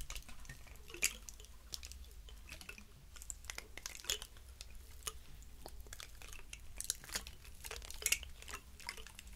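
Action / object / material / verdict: scrape / pine cone scales / wood / none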